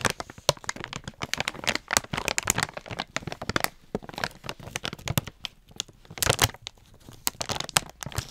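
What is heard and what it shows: Long painted nails and fingertips crinkle and scratch a medium-size, treat-filled Bakers Sizzlers foil-lined plastic dog treat pouch, then pinch its top edge. The result is a dense run of sharp, bright crinkles, crackles and scratchy snaps that die away almost instantly, with brief quieter gaps between bursts.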